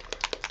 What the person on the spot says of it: you can hear there's a little ball inside, and that just kind of shakes up the paint a little bit